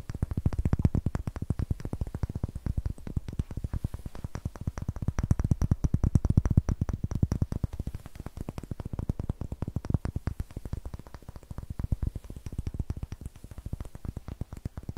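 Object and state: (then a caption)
Wooden block tapped with nails. A solid, hand-sized, light wooden block with rough greyish end grain is tapped and scratched with long nails. The result is a steady stream of rapid, dry, low-pitched knocks that stop almost instantly, with faint scratchy texture. It continues throughout, swelling and easing slightly in loudness.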